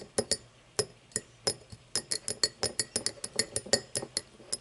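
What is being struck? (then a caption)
Cut crystal glass tumbler. An empty cut-crystal glass tumbler lying on its side is tapped and scratched along the top with long painted nails. About 21 quick, bright glassy clicks come in an uneven rhythm, each with a high, thin ring that dies almost at once. Faint scratching sounds fill the gaps between taps.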